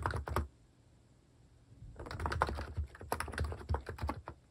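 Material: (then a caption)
Plastic. Fingertips type steadily on the left side of a compact plastic mechanical keyboard fitted with plastic cat keycaps. A few quick keystrokes are followed by a brief pause, then a denser run of short, clacky taps with a low thump under each press.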